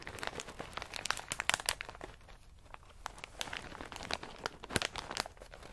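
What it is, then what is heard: Plastic bag of pistachios. A medium plastic snack bag full of in-shell pistachios is squeezed by hand, then set down and pressed with fingertips. It makes dense, bright crinkling with sharp crackles and short pops, quieter in the middle stretch and busier again toward the end.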